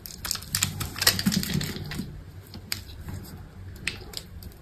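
A solid white bar of soap held in the hand is scored and cut into cubes with a utility knife blade. Crisp, dry clicks and scratchy carving strokes come in quick, irregular bursts, bright and brief with almost no ring, over a soft low rumble. The cuts are loudest early on and fade to lighter scraping toward the end.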